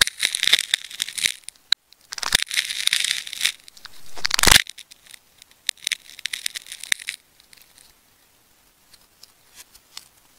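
A craft knife blade cuts and scrapes through the layers of a hand-sized solid ball of wound multicolored (red, orange, white, teal) plastic adhesive tape, held in the fingers, working toward its yellow core. Bright, crackly tearing and scraping bursts come in dense runs, rising to a loud rasping swell around four and a half seconds. The sound then breaks into sparser, quieter crackles that thin out toward the end.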